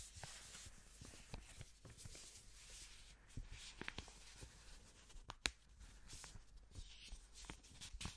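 A single thin, flat blue paper banknote is held in black-gloved hands close to a microphone and crinkled and rubbed between the fingers. Quiet, continuous papery rustling is broken by short, bright crackles and ticks as the note creases.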